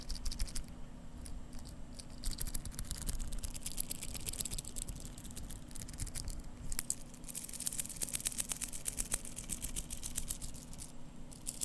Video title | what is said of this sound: ASMR - Seiko SBDC053 Watch Sounds (Whispers, Tapping, Scratching, and Turning) | Now the bracelet is jingly, just a bit. However, it's a very dense sounding jingly sound, which is quite interesting.